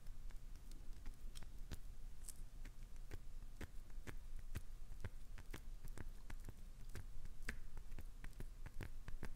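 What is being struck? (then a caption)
Glycerin soap bar scratched with fingernails. Long acrylic nails scratch and scrape along the sides of a solid, translucent green glycerin soap bar held in the hand. Quick, sharp, dry clicks and scrapes come in a steady, irregular stream over a constant low rumble, with each sound dying away almost at once.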